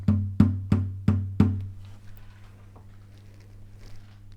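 The soundboard of a wooden classical guitar is tapped five times beside an electronic tuner to read the pitch of its tap tone and estimate the body pitch. Each tap gives a short knock with a low, humming ring around 98 Hz that fades over about a second before the clip goes quiet.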